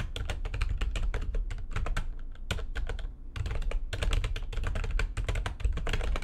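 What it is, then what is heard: Plastic computer keyboard, typed on. Fingertips with long nails type fast on the keys of a full-size, low-profile, backlit plastic computer keyboard resting on a desk. A dense stream of sharp, bright clicks rides over a steady low rumble, with a brief lull about halfway through before the rapid tapping resumes.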